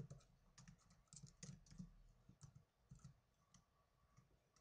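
Fingertips with blue nails type on the plastic keys of a small black plastic netbook. The result is a quiet, irregular patter of soft, low thumps, each topped with a brief bright click that dies away almost instantly.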